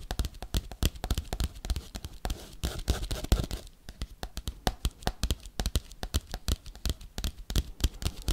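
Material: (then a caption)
Paper. A flat, empty yellow kraft paper bubble mailer is scratched and tapped fast with metal paperclips worn on the fingertips. Dozens of sharp, crisp taps sound in quick succession, with a stretch of denser papery scratching in the middle.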